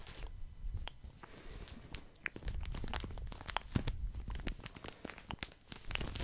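Fingertips tap and scratch a full, soft plastic package of cotton pads. The crinkly plastic gives sharp, bright crackles and ticks over a soft, muffled low rustle, in uneven bursts that stop quickly.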